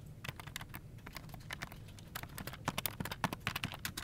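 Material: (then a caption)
Plastic. Fingertips of both hands rapidly tap the key caps of a full-size plastic office keyboard resting on a desk. Quick, short, bright clicks come in an uneven run over a steady low hum, growing sharper and louder toward the end.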